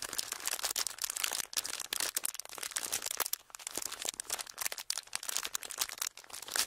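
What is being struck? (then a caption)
Clear ridged plastic packaging sheet. A thin, clear, ridged plastic packaging sheet is held in both hands and squeezed and crinkled with the fingertips. The result is dense, bright, crackling crinkles in quick irregular bursts with almost no low end, each snap dying away instantly.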